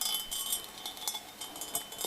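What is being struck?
Cut crystal glass bowl.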